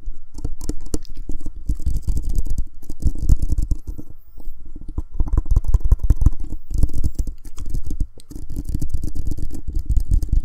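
A black hollow plastic Blue Snowball USB microphone, a spherical mic about 12 cm across on a small stand, is held in both hands and tapped and scratched directly around its shell with fingertips and short nails. Dense, rapid, dry taps come through as close, boomy low thumps with faint bright scratchy rustle above. Brief quieter pauses break up the steady patter.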